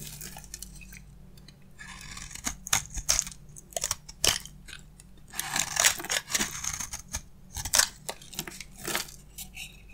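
A solid, dry bar of soap held in the hand is scraped with a box-cutter blade, giving off crunchy shavings. Bursts of dry, bright scraping and crackling come in quick irregular strokes, with short pauses in between over a faint low hum.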